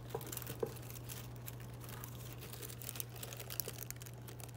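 Fingertips with pink-painted nails rub, brush and crinkle a dense cluster of small, thin, flexible green plastic leaves on a fake boxwood plant. The result is a quiet, continuous rustling crinkle with scattered sharp little ticks and snaps, over a steady low hum.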